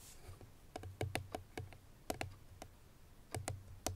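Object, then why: Paperboard perfume box with bottle inside. Long nails tap on the front face of a hollow, cream paperboard Chloé perfume box with the bottle inside, giving twelve light, irregular clicks. Each tap has a short, dull, low hollow thump under a brief bright click, and the sound dies away quickly.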